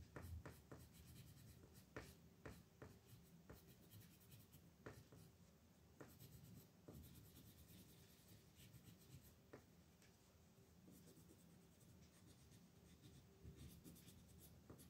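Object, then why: Wooden colored pencil rubbed on a paper coloring page. A dark green wooden colored pencil rubs back and forth over a dragon's wing on a paper coloring book page resting on a table, while the other hand with long nails holds the page. The result is a quiet, steady, soft scratching hiss over a low hum, broken by faint, bright ticks and taps throughout.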